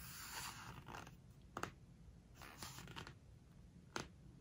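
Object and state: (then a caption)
Glossy paper book pages being rubbed. A large open hardcover home decoration book with glossy paper pages has a page turned, then a flat palm and fingertips rub and squeeze across the glossy spread. Quiet, airy rustling and sliding swishes are broken by brief, sharp squeaky ticks where the skin grips the slick paper.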